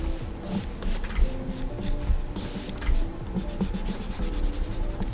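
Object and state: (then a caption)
Stylus strokes on a glass pen display. A plastic stylus nib, held in the hand, makes short scratching and rubbing line strokes on the solid glass surface of a large flat Gaomon PD2200 pen display screen. Soft bright scratches come in quick bursts over a steady low hum with faint tonal lines.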